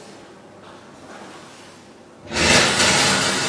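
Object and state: Nothing is struck.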